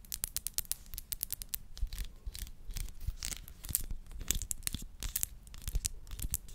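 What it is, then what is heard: Glass perfume bottle. Long nails tap and scratch the glass body of a small glass perfume bottle with a pink rose-shaped plastic cap and purple-tinted liquid inside. A rapid, uneven run of sharp, bright clicks mixes with scratchy rasps that die away almost instantly, over a quiet low rumble.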